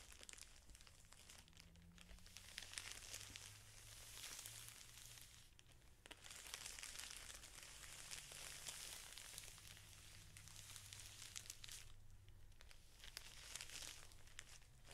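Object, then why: Stack of felt sheets in thin plastic wrap. Fingertips and palms rub, press and crinkle the thin clear plastic wrapper around a large flat stack of craft felt sheets lying on a table. The result is a steady, irregular stream of bright crackling and rustling, with a faint low hum underneath. It eases briefly near the middle and again toward the end.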